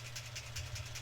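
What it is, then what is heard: Glitter brush pen with a mixing ball rattling inside. A gold glitter brush pen is shaken, its small mixing ball rattling inside to mix the glitter. The rattles are quick and bright over a steady low hum, with about five bursts spread across the clip.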